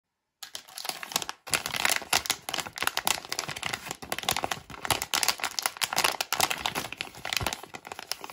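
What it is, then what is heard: Plastic foil candy pouch. Long painted nails crinkle and handle a small, flat, printed plastic-foil candy pouch, sealed and filled, held in both hands above a pile of candies. After a brief silence, a dense, bright crackling runs for about eight seconds, pausing only for an instant early on, with quick crisp snaps layered over steady rustling and almost no low end.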